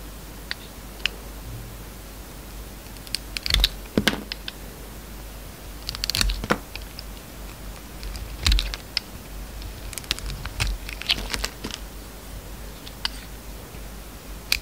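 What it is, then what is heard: Bar of soap being carved. A metal snap-off utility knife blade shaves and carves thin slices from the surface of an oval solid bar of red-coated soap held in the palm. Short, crisp scraping cuts and bright clicks come in irregular bursts over a steady low hum, each dying away almost instantly.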